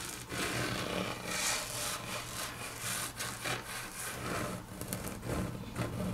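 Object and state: Wood-grain laminate tabletop, scratched with nails.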